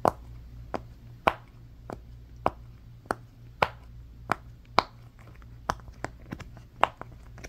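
Thumbs and fingertips push the hollow bubbles of an orange rectangular silicone pop-it toy, making fourteen short, dry pops that die away almost instantly. The pops are unevenly spaced over a steady low hum, and each has a hollow tone centred around 1 kHz.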